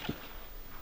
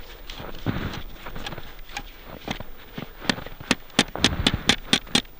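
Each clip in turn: First: soft earth verge, not asphalt. Second: asphalt road surface located under snow.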